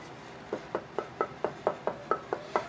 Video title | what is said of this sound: Luthier Wood Review: Alder one of the American workhorse woods tonewood | you can hear just the Dink it's got a consistent tone